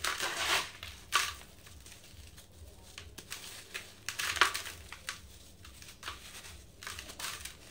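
Fingertips with green-painted nails squeeze and crumble dry sand-cement block pieces in a blue bucket into a powder pile. Bright, gritty crunches and crumbly rustles come in short bursts, with the loudest snaps near the start and middle. Each burst stops almost at once, leaving soft grainy trickling between them.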